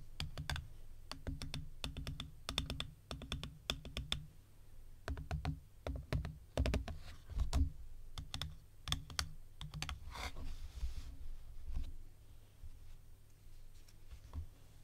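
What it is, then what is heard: Clear plastic organizer box. Long painted nails and fingertips tap on the upright lid and the compartment walls of an open, empty, translucent clear plastic compartment organizer box. Bursts of quick, clicky taps come in rapid runs with brief pauses over a steady low hum, and each tap dies away almost instantly.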